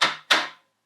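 Two quick knocks on an REI Traverse modular plastic bear canister give bright, hollow clicks that die away quickly. The plastic sounds thin and weaker, almost as if it could shatter, which is put down to the canister's many joints.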